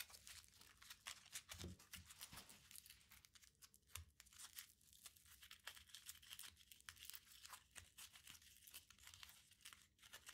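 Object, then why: Crumpled aluminium foil ball. A small crumpled aluminium foil ball is pinched, squeezed and rubbed between the fingertips. It gives a dense, bright, crinkling crackle of quick sharp snaps and rustles that barely ring, with a faint low rumble underneath, continuing steadily for about ten seconds.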